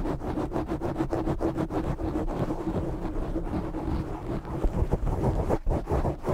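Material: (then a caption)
Foam. Fingertips and short nails scratch and rub a black foam windscreen on a microphone, making a dense, muffled, low-heavy rustle with rapid rhythmic strokes. The scraping stays steady throughout, with a few louder bursts near the end and almost no bright content.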